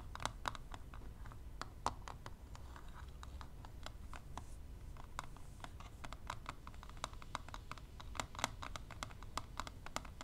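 Long nails and tweezer tips tap quickly along the lid of a closed plastic eyelash extension palette lying flat. Dozens of sharp, dry plastic clicks with a bright edge come in an uneven, rapid patter over a quiet low rumble, each tap dying away instantly.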